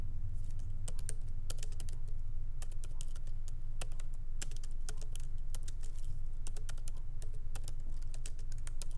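Light fingertip typing with both hands on a MacBook Pro laptop keyboard, with small plastic keycaps set in an aluminum body, resting on a wooden desk. Quick, irregular bright key clicks patter along over a steady low hum.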